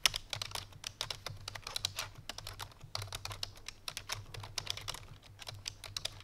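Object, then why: Plastic computer keyboard. Both hands type rapidly with fingertips and painted nails on a full-size black plastic computer keyboard resting on a white fur rug. The result is a dense, continuous stream of short, bright, clicky keystrokes with very quick decay over a faint low hum.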